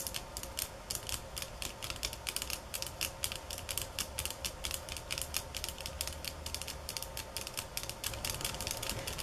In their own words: Tapping on Bamboo sticks ~ Golpetear Palos de Bamboo 9:05 - 14:11